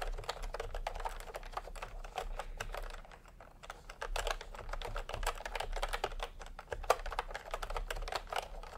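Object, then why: Plastic computer keyboard with round keycaps. Fingertips type steadily on a full-size plastic typewriter-style computer keyboard with round retro keycaps in peach and cream, lying on a white cloth. Quick, dry clicky taps with a mid-range clack follow one another in a dense stream over a low background hum, easing off briefly around the three-second mark before picking back up.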